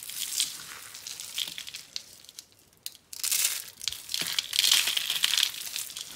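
A small white, blue and yellow rolled dry soap curl rose is squeezed and crushed in both hands with the fingertips, breaking into crunchy flakes while other soap roses sit untouched nearby. Bright, dry crackling and crinkling crunches come in dense bursts, fading almost to silence near the middle before a louder, sustained stretch of crushing.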